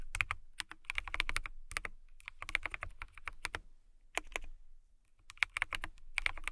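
Long nails type on the clear keycaps of a transparent acrylic mechanical keyboard. Quick bursts of crisp, bright clacks with very short decay and a low thud beneath are broken by brief pauses.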